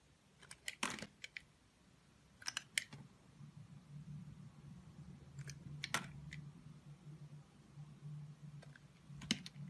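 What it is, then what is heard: Soap bar being carved. A utility knife cuts and scrapes slices from the face of a small, solid, orange translucent soap bar held in the fingers. Short, crisp, bright clicks and snaps come in quick clusters and stop dead, over a steady low hum.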